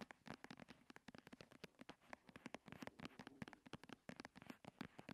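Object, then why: Plastic cosmetic squeeze tube. A medium-size white and turquoise plastic "bio" cream squeeze tube lying on a purple cloth is tapped rapidly with the long red nails of both hands. About 34 quick, dry, crackly clicks come in a dense, irregular patter, each dying almost instantly over a faint hollow tone near 210 Hz.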